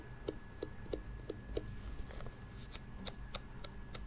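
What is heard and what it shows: Long pink acrylic nails tap and click on the glossy shell of a small, hollow, hard-shell glasses case with a turquoise metallic coating, a cartoon cat face and a metal carry handle, held up close to the microphone. About a dozen short, dry clicks are heard: the first five carry a hollow, mid-pitched knock, while the later ones are thinner and brighter. They sit over a steady low rumble and a faint constant tone.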